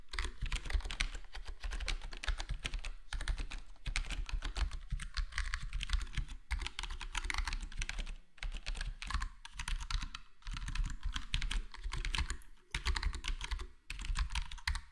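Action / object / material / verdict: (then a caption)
tap / plastic computer keyboard with foam-filled case / plastic / none. Fingertips of both hands type steadily on a full-size black plastic HyperX Alloy Core gaming keyboard with square plastic keycaps and a foam-modded, foam-dampened case. Short, dry, muted taps fall in fast bursts with brief pauses between them, over a steady low hum.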